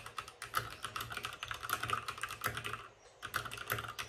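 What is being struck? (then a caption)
Mechanical keyboard with plastic keycaps. Fingertips of both hands type fast on a white RGB-backlit mechanical keyboard with plastic keycaps and a hollow plastic case. The result is a rapid stream of short, sharp plastic clacks with a hollow ring centered around 1.3 kHz and bright high-end ticks. The stream pauses briefly near the three-second mark before resuming.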